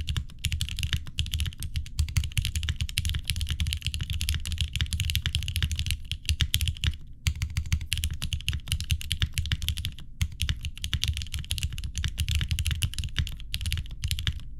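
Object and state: Mechanical keyboard with plastic keycaps.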